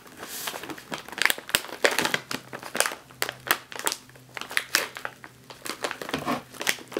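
A sealed, metallized foil snack chip bag is squeezed and crinkled with the fingers and long nails. It gives a continuous run of sharp, bright crackles and crinkles that rise and fall in quick bursts, over a faint low hum.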